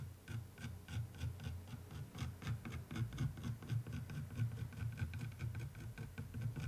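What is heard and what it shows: A wooden stick traces and rubs over the surface of a textured canvas art print in an orange wooden frame. Soft, low, scratchy rubbing strokes repeat in a steady rhythm, with faint bright rasping on each pass.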